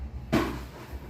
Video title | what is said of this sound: Penasaran‼️ Detailing + cek kondisi rangka bagian depan, Apakah masih aman❓️- Vario 150 led old | lebih berisi gitu tuh. Jadi bukan kayak yang apa bahasanya kopong gitu guys, jadi ya emang berisi gitu